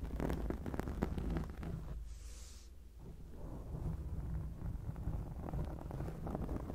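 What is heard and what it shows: Long acrylic nails scratch a black foam microphone windscreen, making a dense, muffled, low rumbling crackle with rapid irregular scrapes. The scratching thins out and softens briefly in the middle, with a faint airy hiss, then builds back to steady rough rubbing.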